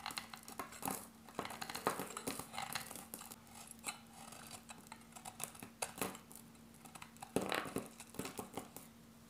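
A solid, hand-sized, dark grey bar of dry soap is held in the hand and cut into thin slices with a metal utility blade. The cuts sound like dense, crisp scraping and crumbling, with sharp, bright peaks that end quickly. A faint steady low hum runs underneath throughout.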